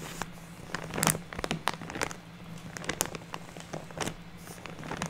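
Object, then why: Plastic bag filled with fake snow fiber. A large purple-printed plastic bag full of white fake snow fiber is rubbed and scratched with fingertips and nails, hands flat on the bag. Many soft crinkling and crackling scrapes follow one another, with a faint steady low hum underneath.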